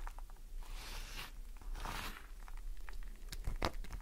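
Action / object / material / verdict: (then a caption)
scrape / glycerin soap bar / glycerin soap / none. Long nails scratch the grooved face of a solid green glycerin soap bar held in the hand, with a pile of shavings below. Soft, rasping scrapes swell and fade, followed by a few sharper, crisp clicks near the end over a low, steady hum.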